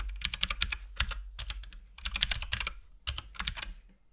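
Fingertips of both hands type continuously on a compact RGB-backlit mechanical keyboard with plastic keycaps and a hollow case. Quick bursts of bright, clicky keypresses over a low thock come with brief pauses between flurries, and each clack stops dead with almost no ring.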